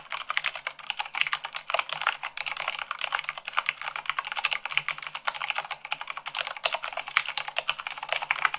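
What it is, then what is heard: Plastic mechanical keyboard. Rapid typing with fingertips and long nails on a white plastic mechanical keyboard, at about 98 words per minute. The result is a dense, continuous stream of bright, short clicks and clacks with almost no low end.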